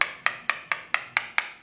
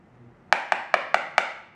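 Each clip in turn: First: Seven quick, bright taps with almost no ring: a ceramic floor tile that sounds solid and well bonded. Second: Five sharp taps with a clacky mid-high tone show a floor tile that sounds hollow, not solid.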